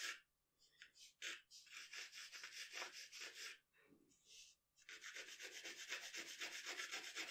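A wooden graphite pencil sketches on a large, flat sheet of drawing paper lying on a dark table. It makes bright, dry scratching strokes in quick, fairly regular bursts of about four per second. There are a few softer, sparser strokes and brief pauses near the start and around the middle.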